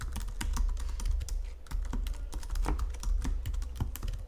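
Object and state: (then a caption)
Plastic computer keyboard being typed on. Fingertips and nails type continuously on the plastic keys of a full-size white Logitech keyboard resting on a marble surface, shown under a pink filter. A rapid, steady stream of short, bright clicks and taps rides over a constant low rumble, with each keystroke dying away almost instantly.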